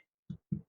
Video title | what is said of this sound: Quit Store-Bought Bread Forever! Step-by-Step Homemade Bread Tutorial! #whitebread #bread #baking | Hear that? You get a thud. Sounds hollow.